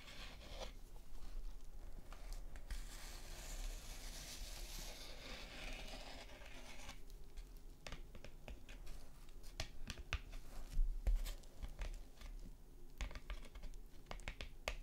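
Long nails scratch and tap a thin printed paper postcard with a bird illustration, lying flat on a fabric surface. A soft, bright papery scratching swells through the first half, then gives way to a quick, irregular run of crisp taps and scrapes with a dry, close sound.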